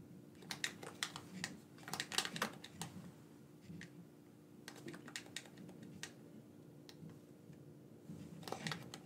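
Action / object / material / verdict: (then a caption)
tap / plastic game controller / plastic / none. A black, wired, hand-sized hollow plastic gamepad is held in both hands while its buttons are clicked with the thumbs. Short, bright plastic clicks come in uneven bursts and scattered single taps, with a faint steady low hum underneath.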